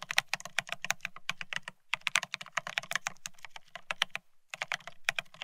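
A Bear65 mechanical keyboard with blank white matte ceramic Cerakey keycaps on a steel plate, resting on white cloth, is typed on rapidly with the fingertips of both hands. It gives a quick stream of short, bright, clacky key strikes that die away almost instantly, with brief pauses near 1.8 and 4.4 seconds.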